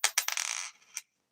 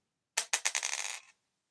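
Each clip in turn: First: copper penny, higher ping. Second: zinc penny, dull ping.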